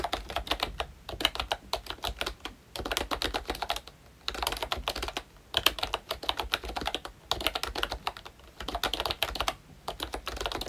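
Both hands type with their fingertips on a pink plastic ROYCHE Disney Mickey Mouse retro membrane keyboard with round black keycaps. The result is bursts of rapid, light, bright clicky taps with short pauses between them.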